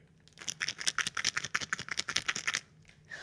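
A plastic container of melatonin sleep gummies is shaken, producing a rapid, bright, plasticky rattle of 13 distinct clicks as the gummies knock around inside. The rattle runs for about two seconds and then stops.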